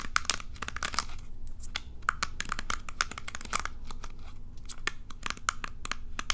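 Long nails scratch and flick the plastic pins of a plastic bristle hairbrush, producing a rapid, irregular stream of crisp, dry clicks and ticks. Each click is bright and short with no ring, centered around 1.4 kHz, over a faint, steady low hum.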